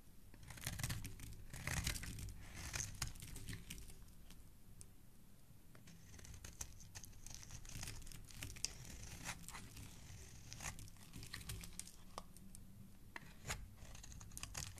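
A snap-off utility knife blade carves and scrapes the edge of a solid white oval soap bar held in hand, producing dry, crumbly shavings. Quiet, irregular dry scraping and crunchy, tearing crackles come in quick bright bursts over a low background rumble, with no ring after each cut.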